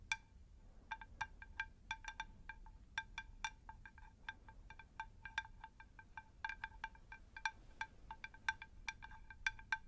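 A round, shallow, unglazed terracotta plant saucer is tapped with long nails close to the microphones. The taps come in quick, irregular bursts, each a short, bright clink with a ringing tone around 1.6 kHz that dies away almost at once. A faint low hum sits underneath.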